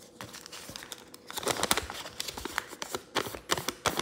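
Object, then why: Thin origami paper sheet. Fingers open, fold and flatten a folded crane base of thin pink origami paper on a table, creasing and rubbing it. Crisp, bright crinkles and rustling bursts come in quick irregular clusters, louder in the middle and at the end, with little low end and a faint steady hum underneath.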